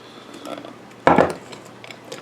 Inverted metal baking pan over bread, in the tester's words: you can hear that it's Hollow